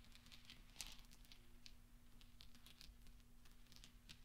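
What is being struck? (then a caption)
Small steel balls. Small solid steel pachinko balls resting on black velvet are tapped and rolled by fingertips and nails, making soft, bright clinks as they knock against each other. The clinks are quiet and scattered, with one louder click early on, over a faint steady low hum.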